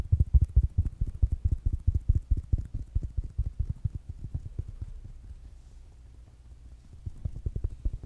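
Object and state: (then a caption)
Fabric-covered smart speaker tapped. Fingertips and nails tap a small rounded black smart speaker with a fabric mesh cover, producing a rapid series of dull, low thuds with almost no ring. The tapping is strongest at the start, softens to faint patters around the middle, then picks up again near the end.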